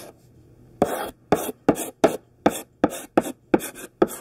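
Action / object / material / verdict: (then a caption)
scrape / chalk stick on a chalkboard / chalk / none. A thick pink sidewalk chalk stick held in the hand writes words on a large flat black chalkboard. Nine separate gritty scratching strokes are heard, each a short rasping burst with a bright, hissy edge, separated by brief quiet gaps.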